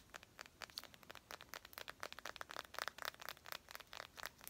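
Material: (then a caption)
Glass. A small, clear glass perfume bottle with a gold cap, partly filled and held in the hand, is tapped and scratched with long nails. A quick, uneven run of light, sharp clicks and brief scratchy bursts rings briefly around 1.3 kHz, with bright high edges and almost no low end.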